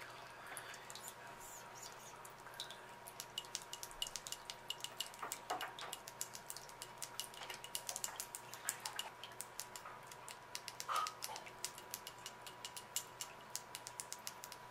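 Long acrylic nails tap rapidly along the sides of a small round glass jar filled with cream-colored candle wax, held in both hands. The result is a quick, uneven stream of many sharp, bright clicks that die away almost instantly, with a slightly louder cluster near the eleventh second. A faint steady tone runs underneath throughout.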